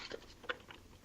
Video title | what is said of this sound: The Retro Gamers - Episode 125: Super Retro Bowl | Nope, it's intact. No, it's still good. It's all good.